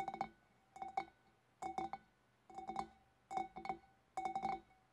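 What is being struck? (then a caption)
Glass fish bowl. Long black-polished nails of both hands tap the sides and neck of a large, empty, clear glass fish bowl, which is hollow. Six quick bursts of two to four light clinks each give a glassy ping around 770 Hz with a faint brighter overtone. Each tap dies away almost at once, leaving short gaps of near-silence between bursts.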